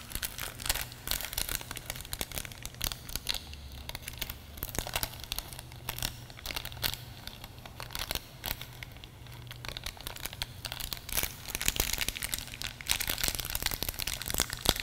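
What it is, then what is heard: Plastic film pouch. Fingertips of both hands squeeze, rub and crinkle a small, thin, pinkish-purple plastic film pouch. The result is dense, bright crinkling and crackling with quick, dry snaps over a faint steady low hum, getting louder toward the end.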